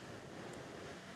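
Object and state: Nothing is struck.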